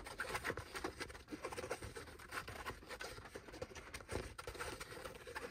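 Fingertips and nails scratch and tap the crown and brim of a dark grey cloth baseball cap resting on a lap. The result is a quiet, continuous run of quick, soft taps mixed with dry, scratchy fabric rustling.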